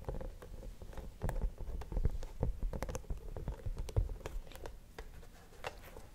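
A flat, cream-coloured rubber hot water bottle, hollow and apparently empty, is held upright behind the microphone and tapped on its surface with the fingertips. The result is a quiet, irregular patter of soft, dull, low thuds that die away almost instantly, with a faint bright tick on some taps.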